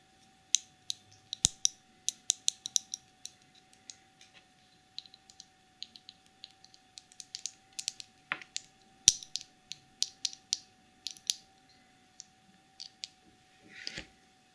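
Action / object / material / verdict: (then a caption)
tap / small plastic cosmetic jar with a plastic lid / plastic / none. Long nails scratch and tap the black plastic lid and sides of a small clear cosmetic jar full of dark glitter. The result is a quick, uneven run of sharp, bright plastic clicks and ticks with very little low end, plus a brief scratchy rasp near the middle and end. A faint steady tone hums underneath throughout.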